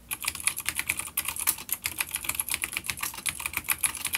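Both hands type fingertip taps on a full-size dark grey plastic vintage mechanical keyboard with grey and dark keycaps and vintage clicky blue switches, an older B-grade unit resting on a wooden desk. About thirty rapid, sharp, bright clicks each die away almost instantly, with almost no low end.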